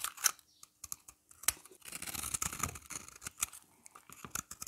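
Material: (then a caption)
Soap. A hand-held solid yellow bar of dry soap is scraped and shaved with a utility knife blade, with crumbly powder falling off. Short, bright scraping and crackling strokes come with a few sharp clicks, then a denser gritty rasp through the middle before thinning to scattered crumbly ticks.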